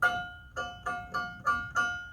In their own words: You want to make your blade on your scroll saw tight enough so when you flick it, you hear that ping.